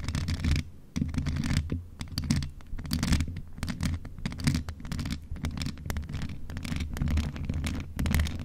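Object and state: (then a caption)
Metal condenser microphone scratched. Long nails of both hands continuously scratch the rounded mesh grille head of a hollow, grey metal desktop USB condenser microphone. The result is a dense, rustling scrape with a deep, boomy low rumble around 78 Hz and quick, bright crackles layered on top. The texture swells and dips throughout the clip without stopping.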